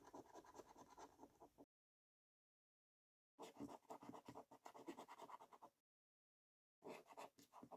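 A coin edge scratches the silver latex panels of a thin paper "5 Years For You" scratchcard held by hand on a wooden table. Three bursts of rapid, uneven rasping strokes are separated by stretches of silence, with a dry, mid-range scraping tone and no lingering ring.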